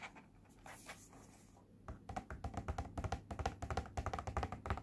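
A small, flat, pink printed cardboard face mask box (Cooky face point mask) lies on a blue surface and is turned from back to front, then fingertips and nails tap on its surface. A quiet, faint rustle gives way after about two seconds to quick, uneven taps that are short, dull and low-heavy, with a slight hollow tone.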